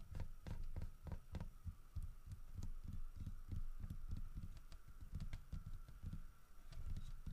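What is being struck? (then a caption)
Carved wooden statue. Fingertips tap and rub the sides of the head and body of a solid carved wooden bear statue. The result is a quick, uneven series of soft, dull, low thumps with almost no ring, over a faint steady hum.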